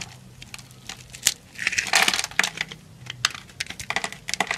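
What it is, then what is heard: Bar soap being scraped and cut. A utility knife scrapes and cuts cubes off the surface of a solid, grid-scored brown bar of soap held in the hand. Bright, dry crackles and crisp clicks come in quick, irregular bursts, with a denser scraping rush in the middle. Each sound stops almost at once, with no ring.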